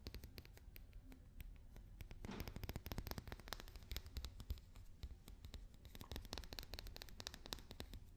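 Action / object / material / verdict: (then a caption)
tap / papier-mache daruma doll / papier-mache / none. Fingers and nails tap and scratch a papier-mâché daruma doll. The result is a steady run of quick, dry taps with dull low thuds, mixed with light scratching and no ringing afterward.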